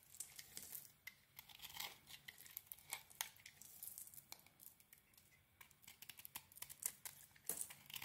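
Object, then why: Bar of soap shaved with a small metal blade. A small metal blade shaves and carves a hand-sized solid cream bar of soap that still has remains of a gold coating. The result is a steady run of crisp, bright scraping and crackling strokes, each a short dry burst with almost no low end, rising and falling in loudness with sharper snaps near the end.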